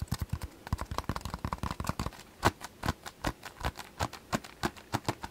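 A massage ball is tapped and scratched quickly, giving about thirty short, dry, clip-clop-like knocks with a low, thumpy body. The taps come in a fast cluster over the first two seconds, then slow to spaced, slightly louder single taps with a soft scratchy hiss between them.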